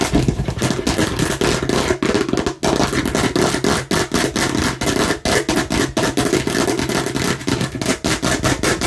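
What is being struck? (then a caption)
Hard plastic watermelon-slice container. Long nails on both hands rapidly tap and scratch a hand-sized, hollow hard plastic container shaped like a watermelon slice. A dense, continuous stream of quick clicks and scraping rasps rises and falls in short bursts, with a hollow low body under broad, bright, scratchy noise. Each tap dies away almost immediately.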